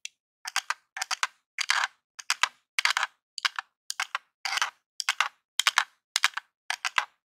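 A long jeweled nail taps and scratches the surface and d-pad of a grey hollow plastic Super Nintendo controller lying on a table. About twelve quick clusters of dry, bright plastic clicks and scrapes repeat at a steady pace, with no low end and almost no ring after each one.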